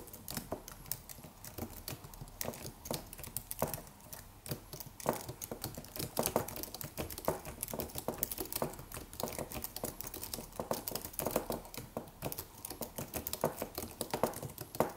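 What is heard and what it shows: Fingertips of both hands type rapid taps on a slim white Apple-style wireless keyboard with an aluminium body and white plastic keys. A steady stream of short, dry clicks and soft taps runs for the whole clip, each stopping almost at once, with occasional louder keystrokes standing out.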